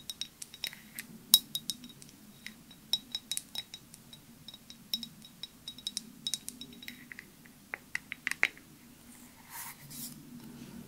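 A clear glass perfume bottle with a white cap, held horizontally, is tapped with long nails, giving about 26 light, quick clinks with a thin glassy ring near 3.8 kHz. The taps come in irregular clusters, with a few sharper, louder ones around the middle. They give way to a soft, breathy rustle at the end over a faint low background hum.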